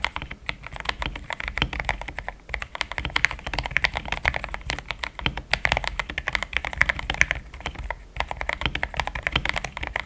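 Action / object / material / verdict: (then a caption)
tap / plastic mechanical keyboard / plastic / none. Fingertips of both hands type steadily on a compact pink-and-cream plastic mechanical keyboard with thick XDA-profile keycaps, Gateron Yellow switches and a polycarbonate plate, resting on a desk mat. A dense, continuous stream of short, crisp keystroke clacks centered around 2 kHz, with a bright edge and a soft low thump beneath, runs for about ten seconds. The typing pauses briefly near 2.5 and 8 seconds.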